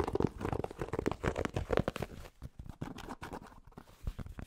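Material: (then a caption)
Cotton fabric. Fingertips tap and scratch quickly on the fabric of a grey cotton Penn State baseball cap, its hollow crown held in both hands. The result is a dense run of soft, muffled taps and scratchy rustles, dry with no ring, weighted toward the low end, with a louder burst of tapping at the start before settling into quieter scratching.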